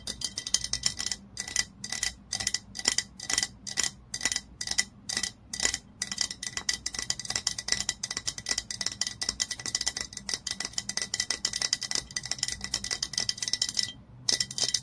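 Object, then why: Glass oil bottle tapped with fingernails. Long nails tap quickly on the labelled glass body of a glass olive oil bottle lying on its side. The result is a dense run of bright, clicky taps with a faint glassy ring near 2 kHz that dies away almost instantly. The taps come in fast bursts, with a brief pause near the end.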